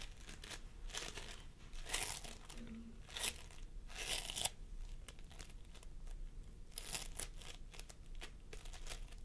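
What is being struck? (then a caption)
Floam foam with polystyrene beads. Fingertips of both hands press and squish a pastel mound of sticky floam sculpting foam made of polystyrene beads on a wooden table. It gives a run of quick, bright crunching and crackling bursts with short crinkly tails. Some squeezes swell into louder, hissy crackles above a low, steady background.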